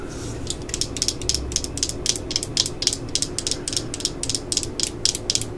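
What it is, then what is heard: Plastic drill battery pack. Long nails tap and scratch along the underside and ridges of a black plastic 18V drill battery pack held in the hands, its hard plastic case feeling solid. A rapid, uneven series of short, bright clicking ticks sits over a steady low hum, each tap dying away almost instantly.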